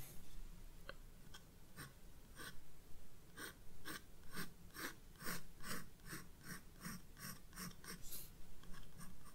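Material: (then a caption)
Paper. A graphite pencil draws detail lines on a flower sketch on white paper in a spiral-bound sketchbook. A series of short, bright scratching strokes rasps across the page in an uneven rhythm over a steady low hum. Each stroke stops quickly, with no ring afterward.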